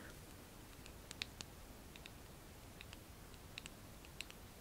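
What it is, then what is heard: Small glass cosmetic jar with plastic lid. A small Sephora eye cream jar, likely full, with a frosted grey glass-looking body, a white label and a pink plastic screw lid, is held up close in both hands. Long lilac-painted nails tap and click on the jar and its lid. About a dozen quiet, dry, bright clicks ring near 3.7 kHz and die away almost instantly over a low, steady background hiss.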